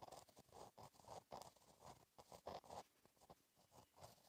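A gel pen tip scratches across a flat black lined notebook page while writing cursive. The sound is a quiet, dry, continuous scratching, made up of short strokes that come in rapid bursts with brief pauses between them. The energy sits mostly in the midrange, with faint bright edges.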